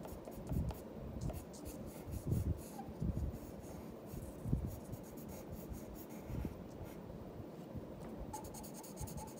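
A pencil's graphite tip scratches across a flat sheet of white drawing paper lying on a wooden desk, making continuous strokes as the tail and legs of a drawing are sketched. The quiet, low, rasping scrapes rise into several louder swells, with a brighter hiss near the end.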